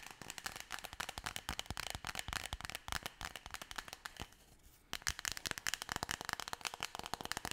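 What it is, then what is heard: Cardboard tube tapped and scratched with nails. Long nails tap and scratch rapidly along a long, hollow, forearm-length brown cardboard tube that may be wrapped in tape or paper. The result is a dense stream of dry, bright clicks and scrapes with almost no ring, broken by a brief quieter scratching stretch just before the fifth second before the tapping resumes.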